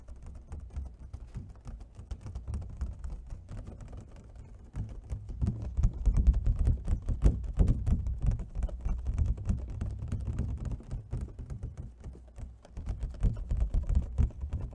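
Fingertips and fingernails tap quickly on the ridged sides of an empty, hollow clear plastic clamshell food container. The taps are dull, low, short clicks that die away almost at once, soft and sparse for the first few seconds, then a denser, louder, uneven flurry.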